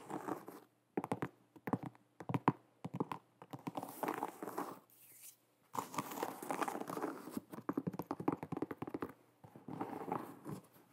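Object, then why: Leather sneaker. Long nails tap and scratch across the leather upper of an empty light blue and white leather low-top sneaker with a rubber sole, held sideways in both hands. Quick, dry clicks and rough scratching come in dense bursts separated by brief pauses. Each tap is soft and dies out almost at once.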